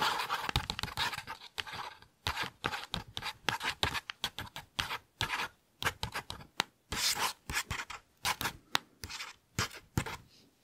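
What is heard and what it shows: Fingertips and nails trace and scratch across the glossy printed paper page of an open children's picture book held beside the mic. Dozens of quick, separate rasping strokes come in fast bursts, bright and papery with little low end, each cutting off dry with no ring.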